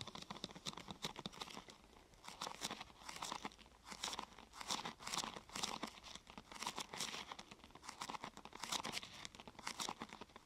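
Fingertips and nails press and rub the top of a thin, glossy purple plastic sheet curved into a hollow half-tube. The result is a steady stream of quick, bright crinkling and crackling bursts with almost no low end. Each burst dies away almost at once.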